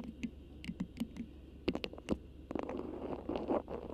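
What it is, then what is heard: Beeswax fabric wrap being scratched and crinkled. A thin, flexible cream beeswax-coated cotton food wrap with a black print is draped over the microphone while long pink acrylic nails grip, crinkle and scratch it. Quiet, close crackles and scratchy rustles come through, broken by sharp taps and clicks that stop almost instantly. Denser crinkling builds toward the end.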